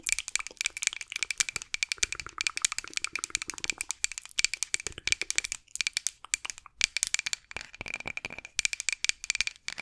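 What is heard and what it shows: A solid light-wood rolling pin with handles, held across the microphone, is rapidly tapped and scratched with long acrylic nails. The result is a dense stream of sharp, dry, bright clicks and scrapes with almost no low end, coming in quick bursts with brief pauses between them.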